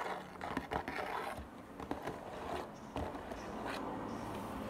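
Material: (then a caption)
Cardboard. A small, hollow, rectangular printed cardboard La Casa de Papel "Tokio" Funko Pop box, with a clear plastic front window and the figure inside, stands on a wooden table and is turned to show different sides while tapped with fingertips and short nails. Soft, dry taps with short, barely ringing attacks mix with scratchy scraping and a steady faint rustle.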